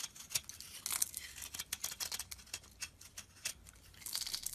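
A solid cream bar soap block, held in the hand, is carved and chipped with a metal utility blade. The result is a quiet, bright run of short, crisp scrapes and flaking snaps with almost no low end, each cut dying away at once.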